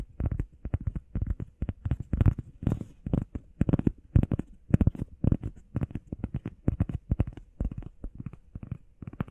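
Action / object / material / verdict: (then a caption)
tap / EVA foam pad / EVA foam / none. Long painted nails and fingertips tap fast and scratch across a flat, solid, grey textured EVA foam workout pad shaped like a heart, about hand-sized. It produces a rapid stream of dull, soft, low thumps that die away instantly, with faint bright scratchy brushing between the taps.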